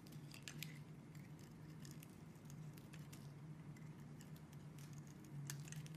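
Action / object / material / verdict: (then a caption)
scrape / bar of soap scraped with a metal blade / soap / none. A metal utility-knife blade scrapes and carves thin curls from the edge of a solid cream-white bar of soap held in the hand, with the shavings piling up behind it. A steady, quiet low hum runs throughout, broken by many soft, bright, crackly scraping ticks as the blade cuts.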